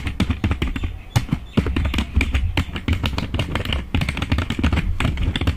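Fingertips type fast on the keys of a black full-size plastic membrane computer keyboard. The result is a rapid, dense stream of short tapping clicks with a dull, low thud under each keystroke. Each tap fades almost instantly, with only a faint bright click on top.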